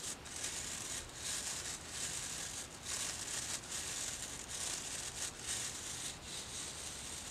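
A small hair brush with a dark wooden body and dense black boar bristles is held in one hand while the fingertips of the other hand scratch and rub across the bristles. The result is a steady, bright, crackly rustle of scratching strokes with slight rises and dips, and very little low end.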